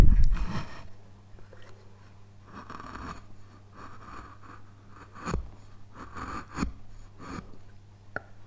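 A flat steel chisel scrapes and cuts along the carved mountain slopes of a solid, light basswood relief panel. Short, dry, rasping strokes come in uneven bursts, with a loud stroke at the start and sharper cuts later, over a steady low hum.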